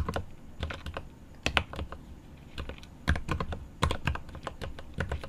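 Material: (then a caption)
Plastic, aluminium. Both hands type rapid fingertip taps on a 75% mechanical keyboard with plastic keycaps on an aluminum case. Short, dry clicks rattle in uneven bursts, each with a low thock and a brief bright tick, stopping almost at once with no ring.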